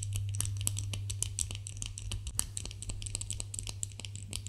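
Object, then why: Soap bar. A solid white bar of soap is scratched and crumbled with fingernails in both hands, flakes falling off. Dry, bright scratching and crisp crumbling ticks come in a quick, irregular patter over a steady low hum.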